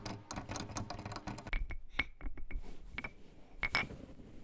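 A pair of solid, cylindrical LP Aspire wooden claves lying on a cloth is tapped with the fingertips and fingernails. A quick flurry of soft, dull taps gives way to sparser, sharper clicks, each with a brief, bright wooden ring around 2.2 kHz that dies away almost at once.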